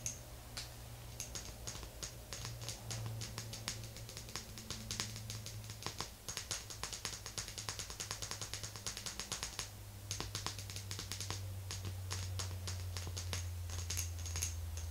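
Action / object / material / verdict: tap / small glass jar with metal lid / glass / none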